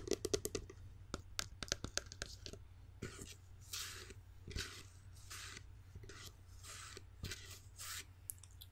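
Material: Glass.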